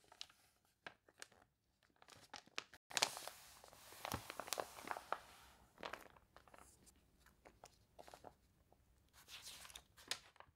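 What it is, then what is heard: Glossy paper catalog page. Fingertips turn a wavy page of a glossy paper toy catalog, and long nails rub and scratch across the spread. Quiet, bright crinkles and crunchy rustles come in short bursts, with a longer stretch of dense crinkling in the middle as the page is handled.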